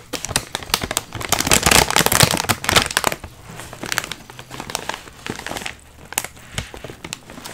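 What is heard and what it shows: Hands grip, squeeze and flip over a full, sealed Miss Vickie's foil-lined plastic potato chip bag, and both the bag and the chips inside crinkle. Dense, bright, crackly bursts are loudest in the first three seconds, then thin out into quieter, scattered crinkles.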